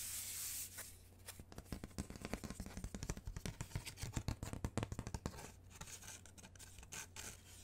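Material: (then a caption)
Cardboard. Long manicured nails rub and scratch around the edges of round cut-out holes in a thin, rigid, flat brown cardboard panel. A brief bright hiss gives way to a dense run of quick, dry scratches that rise in the middle and taper off, over a steady low hum.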